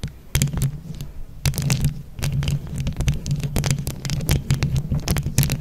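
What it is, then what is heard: Microphone grille covered in plastic rhinestones, scratched and tapped with nails. Long nails on both hands scratch and tap a microphone grille covered in plastic flower rhinestones. Quick, bright clicking taps and scratchy rasps sit over a steady low throbbing hum around 140 Hz.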